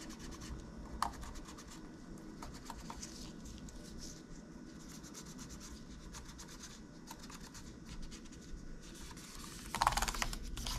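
Gloved fingers and a cotton swab press and scratch the plastic keys of a silver laptop keyboard, producing soft rubbing and scraping with scattered light key clicks over a low steady hum. A sharper click stands out near the 1-second mark, and a louder burst of clicks and scraping comes near the end.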